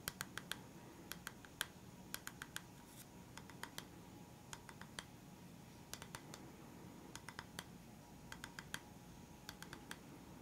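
Fingertips and nails tap on a solid, flat, round bamboo wooden stand with black rubber feet. The result is a quiet, scattered series of short, sharp, bright clicks, some in quick clusters, each dying away almost instantly over a soft, steady low background hiss.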